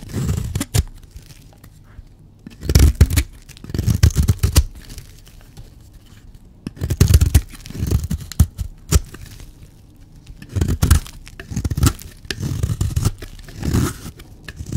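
A blade shaves and scrapes a solid, dry black soap bar. Dry, rasping scraping and tearing strokes come in bursts, with a low, thuddy body and a few sharp, bright crackles, separated by quiet pauses.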